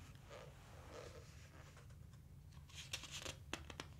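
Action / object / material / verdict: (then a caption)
scrape / glossy paper book page / glossy paper / none. Fingertips slide and rub across the glossy printed pages of a large open dinosaur book, making soft hissing swishes over a low steady hum. The clip ends with a page turn that brings several sharp, bright papery clicks.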